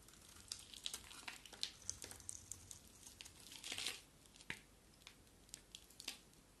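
A small, solid white bar of soap with a dark outer layer is held in one hand and scraped with a box-cutter blade, so curls of soap flake off. The sound is quiet, dry, bright crinkling and scraping, with many short, sharp crackles that stop almost at once. A denser, rougher scrape comes near the four-second mark.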